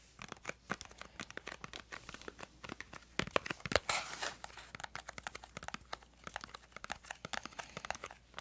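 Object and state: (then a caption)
Cardboard crayon box. Long acrylic nails tap and scratch across a small printed yellow-green cardboard crayon box, likely full of crayons, held in both hands. A dense run of quick, dry clicks mixes with papery scratching and crinkling, with a louder rasping scrape a little before the middle. Each tap is short and dies away at once, with little low end.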